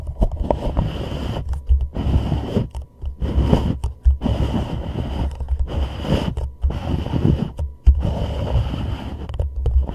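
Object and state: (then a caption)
Plastic cup. Fingertips and a thumb press, rub and tap the wall and rim of an empty, hollow white plastic reusable cup held upside down over a microphone head. The result is a close, muffled, low-heavy stream of scraping and crunchy rubbing, broken by soft thuds and brief quiet gaps.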